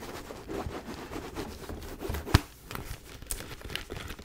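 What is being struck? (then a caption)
Faux leather mini backpack. A white faux leather mini backpack with gold grommets and a chain is scratched and tapped with long nails. Soft, low scratching and crinkling runs throughout, broken by light taps, with one sharp, bright tap standing out near the middle.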